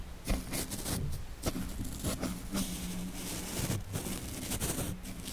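The tips of a small yellow-bristled paintbrush brush and stroke over the bare, hollow woven steel wire-mesh grille of a Blue Yeti microphone. The close scratchy strokes are heavy in low rumble, with bright bristly swishes rising and falling throughout.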